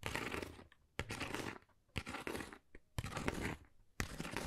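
Long nails scratch across a thin, hollow, flat pale pink pebble-textured Dior cardboard folder in five separate strokes, about one per second. Each stroke is a dry, broadband, crunchy rasp with bright grainy crackle, cut by short quiet gaps.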